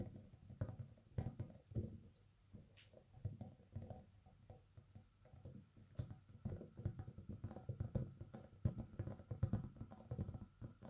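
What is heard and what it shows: Fingertips in fingerless gloves tap and scratch the raised nubs of a large orange, hollow, air-filled PVC/rubber spiked yoga ball, close up. The result is a steady run of soft, dull, low thumps with very short decay, mixed with faint scratchy patter and almost no high-end content.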